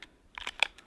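A light Fiskars builder's knife is shaken in its plastic sheath to test how well it is held. Four short, bright plastic clacks are heard as the knife wobbles loosely inside. It rattles but stays in, falling out only if the sheath is shaken hard upside down.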